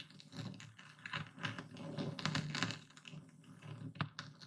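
A hand-held dark speckled stone pestle crushes and grinds coarse white epsom salt in a full wooden bowl. Irregular gritty crunches and scraping crackles come in quick uneven bursts, with a low thud under each press and bright grainy snaps. The crystals break down in short, dry, brittle crunches.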